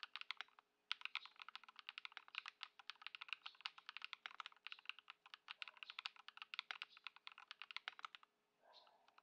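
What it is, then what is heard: Plastic mechanical keyboard. A modded white Ducky One 2 SF mechanical keyboard, fitted with Lumia Matcha switches and Poron foam, with plastic keycaps, sits on a dark mat on a wooden desk while both hands' fingertips type continuously. About 57 short, bright, crisp clacks come in a fast, steady stream with almost no ring and no low end, then a brief soft rustle closes the clip.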